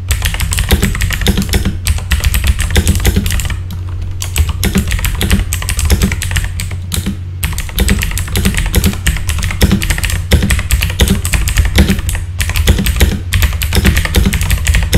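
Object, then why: Plastic mechanical keyboard. Fast typing with the fingertips of both hands on a full-size backlit mechanical keyboard with plastic keycaps produces a dense, continuous stream of sharp clicks and clacks. A low, steady hum runs underneath throughout, and the typing briefly thins out in a few short pauses.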